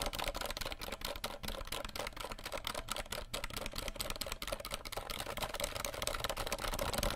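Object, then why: Plastic keycaps of a mechanical keyboard. A compact 60% RGB plastic mechanical keyboard, held behind the mic, is tapped quickly on its plastic keycaps with the fingertips of both hands. A dense stream of sharp, bright clacks runs steadily throughout, with a hollow plastic tone around 580 Hz and very short decay on each tap.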